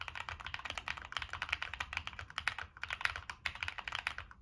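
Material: Plastic, aluminum.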